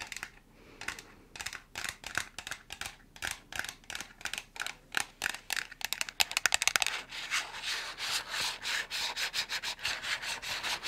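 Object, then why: Small cardboard box. Long nails scratch and rub across a small, hollow white cardboard box, producing quick, bright, dry scraping strokes with no ring. The strokes come in an uneven rhythm, bunch into a fast flurry around the middle, then settle into a denser, continuous rubbing texture.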